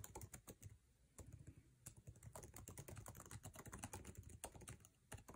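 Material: Plastic.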